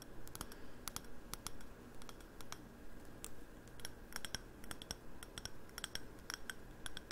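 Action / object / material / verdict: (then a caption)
tap / glazed ceramic candle jar with wooden lid / glazed ceramic / none. A hollow navy glossy ceramic candle jar with a wooden lid is held in the hands and tapped and clicked with the fingernails on its glazed surface. The result is a quiet, irregular run of sharp, bright clicks with almost no ring, some faster and clustered, over a steady low hum.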